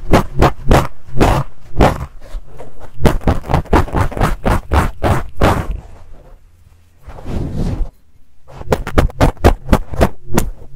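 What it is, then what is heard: Fuzzy fabric microphone cover being scratched. A black fluffy fabric microphone cover, gripped in both hands, is scratched with fingertips and nails and picked with a pink stick tool. It produces a rapid, uneven run of close, muffled, low-heavy scratching bursts, with a quieter stretch and one longer drawn-out scrape midway. Quick scratches then resume toward the end.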